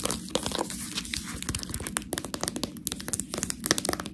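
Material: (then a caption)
Plastic. Long nails tap and scratch along the side of a full, clear plastic package of fresh tortellini held edge-on. Rapid, bright crinkling taps and scratchy rustles come in a dense, uneven stream, with a low rumble of handling underneath. Each tap stops short with almost no ring.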